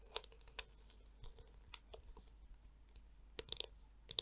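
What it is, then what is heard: Plastic detangler brush. Long nails tap and click on the smooth back and edge of a palm-sized, black, hollow plastic Tangle Teezer detangler brush. Sparse, sharp, bright clicks come at an uneven pace, with softer scratchy touches between them and almost no low end or ring.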